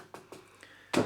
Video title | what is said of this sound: How to use wall plugs - wall plug tips | you know it's solid by tapping it